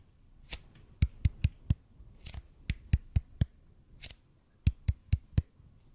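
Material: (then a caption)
EPP foam. Fingertips slowly tap a large, hollow, red-and-white EPP bead foam roller close in front of the mic, with light scratching between the taps. Twelve short, dull, low thuds fall in three groups of four, and brief bright scratchy bursts come before each group.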